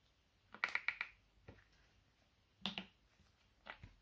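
Fingertips tap the top and cap area of a hollow, medium white plastic bottle held upright. Short, bright, hollow clicks centred near 2.3 kHz come in an uneven rhythm: a quick cluster at the start, then scattered taps with quiet gaps between them. Each tap dies away almost at once.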